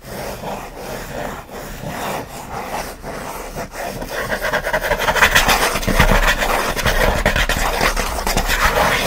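Fingertips and nails scratch the lid of a closed, hollow kraft corrugated cardboard mailer box near its front edge. The result is a fast, rasping scratch repeated in quick strokes, soft at first and then growing louder and brighter for the second half.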